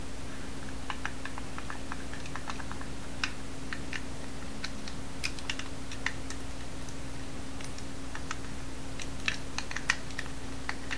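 A small, solid, teal-anodized Masterlock metal combination padlock with a steel shackle is held in both hands while fingertips and nails tap, scratch and turn its dial. The result is a quiet run of many short, bright clicks and ticks, like light typing, over a steady low hum.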